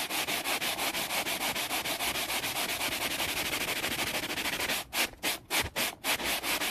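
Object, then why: Wooden board rubbed with a scouring sponge. A flat, solid, grained wooden board is rubbed quickly with the rough side of a layered scouring sponge held by the fingers. This makes a rapid, bright, scratchy sanding sound as strokes run back and forth at about three per second. Near the end the strokes come apart into separate swipes with short quiet gaps between them.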